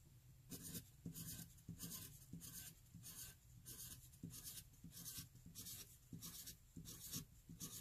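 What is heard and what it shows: A graphite pencil tip writes small, fast e's on a flat white paper sheet already covered in them. It makes about twelve quick, dry scratching bursts of bright, papery rasp over a low, soft rumble. The strokes repeat at a steady but uneven pace.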